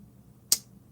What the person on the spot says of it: tick as opposed to thunk